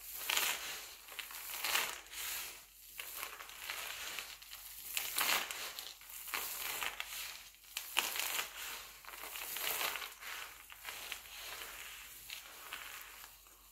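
Hands squeeze and crush a pile of mixed-color glycerin soap shavings, then rub the flakes between the fingertips. The sound is a bright, crisp crunching and crinkling in irregular surges with almost no low end. Each squeeze swells and fades into softer rustling, ending in a quieter patter as the flakes are rubbed.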